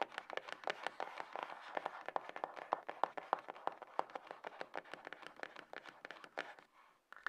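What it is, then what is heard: Cardboard phone box. Long acrylic fingernails rapidly tap the lid top and edges of a small, closed, hollow grey cardboard iPhone box resting on a table. The taps are quick, irregular and dry, with a hollow, mid-pitched knock centred around 800 Hz that stops instantly. They fall briefly quiet near the end before a last faint sound.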